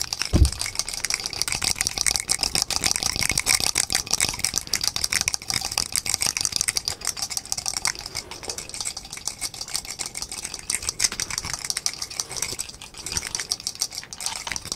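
A small painted wooden desk calendar with loose number blocks is held in both hands by the fingertips and shaken in front of the microphone. A dense, fast clatter of short, bright clicks and knocks runs steadily throughout, with a brief low thump near the start.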